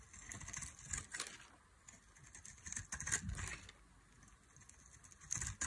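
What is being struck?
Bar of soap shaved with a metal blade.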